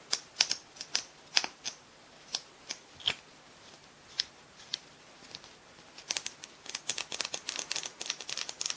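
Long manicured nails tap and scratch a small, hollow Kiko liquid lipstick tube with a metallic brown-silver plastic body and silver cap, held up to the mic. Crisp, bright plastic clicks and ticks with no low end sound at a loose, uneven pace for the first six seconds. They then turn into a quicker, denser patter of tapping and scratching.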